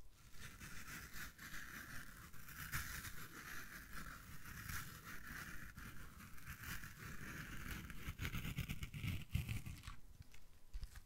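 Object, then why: Foam kitchen sponge. A yellow foam kitchen sponge held in one hand is squeezed and compressed by the fingers. It makes a quiet, continuous stream of soft squishing and crinkling, deep and rumbly underneath with a brighter hiss on top, before briefly thinning out near the end.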